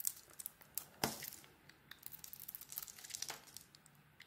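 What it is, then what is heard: Bar soap being shaved. A solid pale bar of soap with a blue dotted coating is shaved with a metal blade. Quiet, bright scraping and crisp crinkly shavings come in short bursts, with a sharper scrape near the middle, then a steadier run of fine scratchy strokes.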